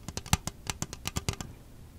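Long nails tap and scratch the wall of an empty, hollow red plastic disposable party cup held close to the mic. About eleven short, dry clicks come in a quick irregular run, each with a low body thump and a bright crackle, with no ring. The taps fade into a soft quiet tail.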